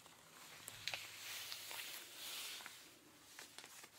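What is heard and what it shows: Pink rubber-gloved fingers scratch and rub blue denim jeans stretched over a raised knee. The result is a quiet, bright, hissy scraping texture that swells and fades, broken by a few sharp scratchy ticks.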